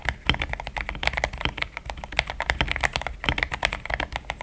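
A compact pink-and-white mechanical keyboard with thick plastic XDA keycaps, a polycarbonate plate and linear switches sits on a desk mat and is typed on quickly with the fingertips of both hands. About 28 short, crisp key clacks come in a rapid, steady stream, each with a bright click and a soft low thud underneath that dies away almost at once.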